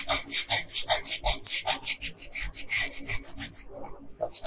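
A pink wooden colored pencil scratches and rubs across a flat paper coloring page while filling in a dress hem. Quick, bright, raspy back-and-forth strokes repeat at about 2–3 per second, then briefly fade to softer scratching before a few more strokes at the end.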